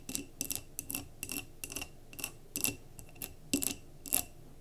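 Long fingernails tap and scratch near the rim of a glass mason jar candle filled with solid wax, resting on a table. Quick, bright clicks arrive in short irregular bursts, each dying away almost at once, with a faint high glassy tone beneath them. A soft, steady hiss fills the gaps.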